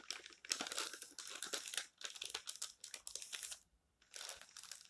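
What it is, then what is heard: Glossy paper magazine. Fingertips stroke and turn the pages of an open glossy paper magazine resting on a stack, giving a bright, crisp paper rustle and crinkle in bursts. The rustling briefly stops near the end before resuming.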